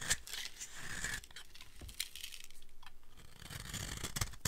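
A utility blade scrapes and cuts along the edge of a solid, dry green soap bar, shaving off fine dry flakes. The clip is a run of crisp, bright rasping strokes with a few sharper snaps, over a low, soft rumble.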